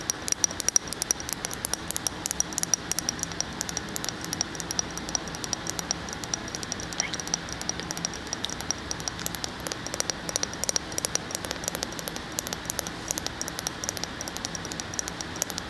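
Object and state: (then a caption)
Glass candle jar lid. Fingernails tap rapidly and continuously on the glass lid of a wax-filled candle jar, making a dense stream of short, bright clicks that stop almost instantly. A steady high hiss sits beneath the taps throughout, giving the clip a patter much like light rain.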